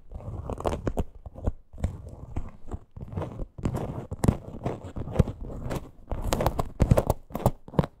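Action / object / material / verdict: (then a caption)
scrape / small faux leather crossbody purse / faux leather / none. Long green nails scratch along the sides of a small teal faux leather crossbody purse with a stitched parrot appliqué. The result is dense, close, crackly scratching in quick bursts of strokes with brief pauses between them, weighted toward low tones, with sharp dry clicks and bright scrapes on top.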